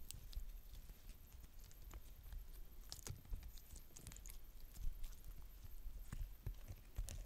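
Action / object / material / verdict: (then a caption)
scrape / glitter slime / slime / none. Two hands with long dark-painted nails stretch a palm-sized lump of soft, stretchy purple glitter slime into a sheet on a polka-dot tabletop, then fold and squish it. The result is a quiet stream of short, sticky pops and crackles over a soft low rumble, with brief bright clicks standing out.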